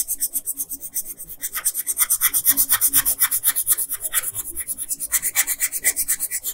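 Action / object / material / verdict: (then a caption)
scrape / pencil on a paper sheet / paper / none. An orange colored pencil rubs a flat printed paper coloring sheet in fast rasping strokes on the crown. It makes a steady run of about three dozen short, bright, scratchy strokes with almost no low end and no ring between them.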